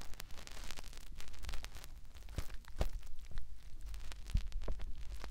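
Fingertips rub and scratch inside the ear canal of a white, soft silicone ear on a round binaural microphone. Close, crackly rustling and scratching continues throughout with a heavy low rumble, broken by sharp, short pops and bright scraping streaks.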